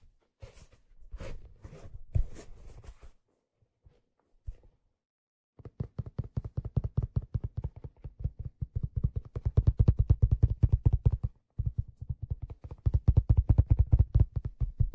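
Fingers holding the brim of a hollow black leather fedora tap along its brim and crown, making soft, dull, low thumps with very little ring. A few scattered, brushier taps come first, then after a short pause a fast, uneven run of tapping builds up, stops briefly, and resumes at full strength until the end.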